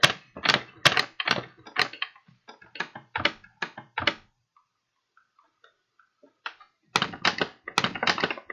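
Fingertips tap and crinkle the sides of a medium, hollow, empty kraft paper bag with blue print, held flat in both hands. Quick, dry, bright taps come in an uneven run, then fade into a quiet stretch of faint soft crinkles before a dense burst of sharp taps returns at the end.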